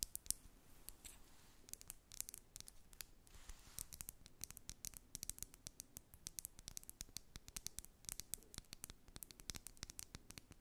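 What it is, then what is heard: Plastic lip oil tube. A small clear plastic lip oil tube with a metallic cap, filled with red product, is held in both hands and tapped and scratched with long acrylic nails. A quiet stream of rapid, sharp, dry clicks and taps with bright ticking edges runs over a soft scratching hiss, each tap dying away instantly.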